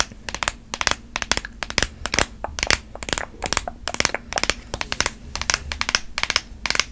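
Long nails tap, scratch and squeeze a long, hollow white cardboard Apple Pencil box held in the hand. The result is rapid bursts of sharp, bright, crinkly clicks and taps that stop dead with no ring, over a faint steady low hum.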